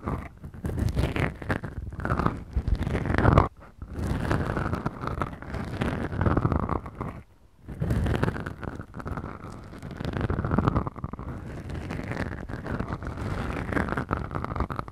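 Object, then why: Foam microphone windscreens. Long glittery acrylic nails on both hands slowly scratch two small, soft, porous black foam windscreens on the mics of a Tascam DR-40X recorder. The result is a dense, muffled, bass-heavy crunching and rustling that runs almost continuously, with brief near-silent pauses around 3.5 and 7.5 seconds.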